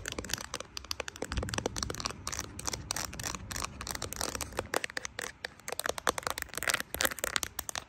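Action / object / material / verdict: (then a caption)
tap / smartphone in a silicone case / silicone / none. Long acrylic nails tap and scratch across the back of a handheld smartphone in a matte brown silicone case decorated with small plastic charms: a bear, a coffee cup, a smiley and a "Baby" badge. Rapid, dry clicking taps mix with a bright, crackly scratching texture, and each tap stops instantly with no ring.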